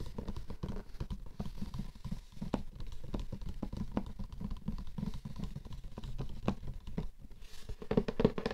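Fingertips and nails tap and scratch the lid of a closed, flat, square, light-blue printed Laura Biagiotti cardboard gift box that lies hollow on a fur rug. Rapid, dense taps and scratchy rubbing come through as dull, hollow low thuds with almost no ring. Near the end the tapping gets louder and busier.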